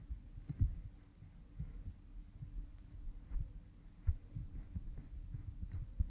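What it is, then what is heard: Silicone ear microphone being rubbed. A cotton swab rubs behind an oiled pink silicone ear model microphone, producing soft, muffled low rubbing and thumping with a steady low hum underneath. Occasional duller bumps stand out, and faint bright crackles flicker lightly on top.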